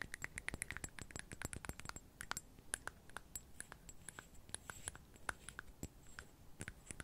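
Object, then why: Small glass perfume bottle with metal cap. Long nails tap and fiddle with the metallic cap and glass body of a small glass perfume bottle filled with amber liquid, held close to the mic. A quiet, rapid, irregular stream of crisp clicks and light ticks, each with a brief bright glassy ping near 1.5 kHz that dies away almost instantly.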